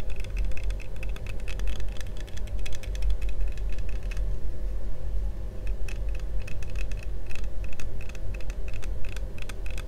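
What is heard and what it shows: Fingertips tap and scratch the front and the side arm near the ear of yellow plastic toy visor glasses with a thin hollow frame, worn on the face. Quick, bright, clicky taps come in dense bursts over a steady low rumble, with a quieter scratchy stretch in the middle before the tapping picks up again.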